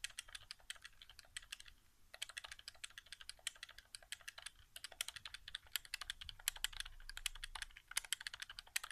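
Fingertips rapidly tap and press the face buttons and the area near the touchpad of a white, hollow plastic PS4 controller resting on carpet. The result is a quiet, dense stream of short, bright plastic clicks and taps with almost no ring, briefly pausing around the two-second mark before continuing steadily.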